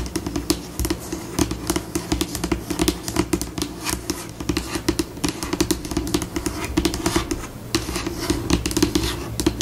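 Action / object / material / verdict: tap / laminated tabletop / laminate / none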